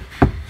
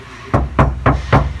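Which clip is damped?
The first.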